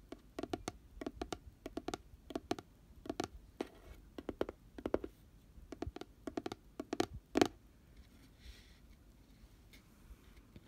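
Fingernails tap the rim and glittery side wall of an open, hollow, pink glitter-coated round cardboard box. The taps are short, dry, midrange clicks in quick bursts, with no ring. The loudest tap comes near the end, followed by a quieter stretch of faint scratchy texture.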